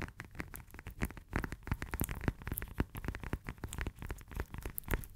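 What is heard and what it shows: Long nails rapidly tap and scratch the textured peel of a whole, solid fresh lemon held in both hands. The result is a dense stream of soft, short, dry taps with a muffled, low-heavy thud and light scratchy crackle between them.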